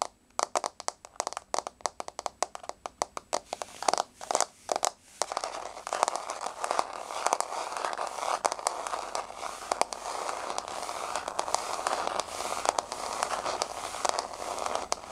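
Long blue-painted fingernails tap a flat, solid wood-grain floor with the fingers moving individually. The first few seconds are separate, sharp clicky taps, which then speed up into a dense, continuous patter of bright, dry ticks with almost no ring.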